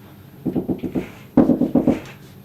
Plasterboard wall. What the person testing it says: you hear it's a hollow sound